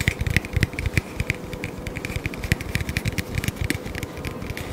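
Long fingernails rapidly tap and scratch a small, hollow, apparently empty hexagonal kraft cardboard box held in both hands, sometimes close to the face. The result is a quick run of dull, low thuds mixed with dry, bright scratching clicks that end almost at once, over a faint steady hum, with an added echo effect.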